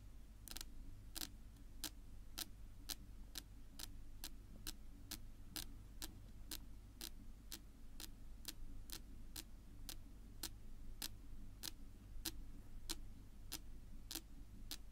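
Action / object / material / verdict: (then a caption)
tap / wooden tabletop tapped with fingernails / wood / none. Long pink nail tips tap slowly on a flat, solid, dark wood-grain tabletop, making a steady series of short, bright, clicking taps that die away almost instantly. The taps are quiet and sit over a constant low hum.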